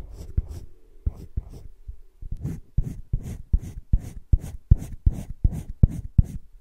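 A hand rubs a teal colored pencil over thick cream drawing paper in a spiral-bound drawing book lying flat, making short shading strokes. Each stroke gives a soft, dry, scratchy rasp with a low thump and a faint bright hiss. The strokes come in an uneven run of about fourteen, growing slightly stronger toward the end.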